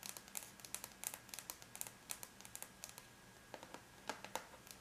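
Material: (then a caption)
Aluminum. The long bare natural nails of both hands tap lightly with their tips on a closed silver aluminum laptop lid, a flat, thin, hollow-backed metal shell. About 28 quiet, bright, crisp clicks come in quick, uneven bursts with almost no ring, and there is a short pause a little past the three-second mark before the tapping resumes.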